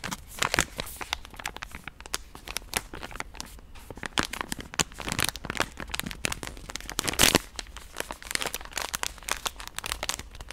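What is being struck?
Soft plastic wet-wipe pouch.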